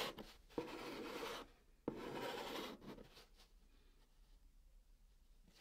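A white chalk stick held in the fingertips writes and draws a heart on the top of a large, flat, hollow brown cardboard box. Two long, rasping scratch strokes each start with a sharp tap, followed by fainter, lighter scratching on the hollow surface.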